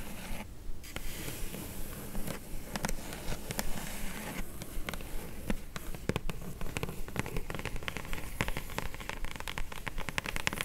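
Long glittery nails tap rapidly on the top of a flat, hollow, closed kraft-brown corrugated cardboard mailer box. Dense, fast, uneven clicks and soft crackles run throughout, each with a short, dull, hollow knock.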